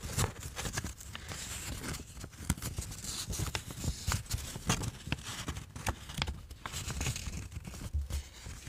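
A thin, flat white paper sheet is handled close to a microphone as fingertips fold it and rub along its creases. Dense crinkling and rubbing continue throughout, with frequent sharp, bright crackles over a steady low rustle.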